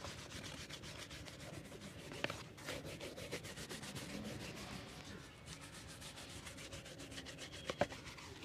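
A hand brushes a brown leather slip-on shoe, hollow and empty and held upright on a wooden board, back and forth with an orange-handled bristle brush. Steady, rhythmic scratchy brushing strokes with a bright, hissy texture run throughout, broken by a couple of sharp ticks.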